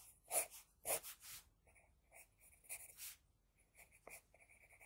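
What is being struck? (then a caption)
Graphite pencil on a sheet of drawing paper. An HB pencil scratches and rubs across a flat sheet of drawing paper while shading lashes. The strokes come as short, uneven bursts of bright, dry scratching with soft hiss, the loudest near the start, then lighter, quicker flicks.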